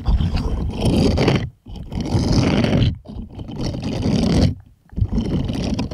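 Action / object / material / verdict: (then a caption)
scrape / silicone bristled glove scraped with plastic toy hands / silicone / none. Plastic toy hands scrape across the bristle pattern of a purple bristled silicone scrubbing glove, shown bent in the middle. Four rough, rustling scraping passes, heavy in the low end with a bright hiss on top, are separated by short near-silent gaps.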